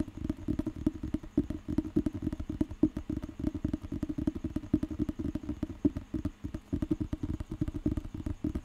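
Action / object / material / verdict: tap / thick paper dictionary with a glossy cover / paper / none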